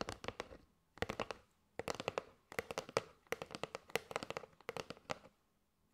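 A kraft cardboard box with a window, full of paper straws, is tapped with long nails on its face and side. Quick clusters of crisp, hollow clicks come in bursts separated by brief pauses. Each tap is dry and dies away almost instantly, with a papery midrange body and bright edges.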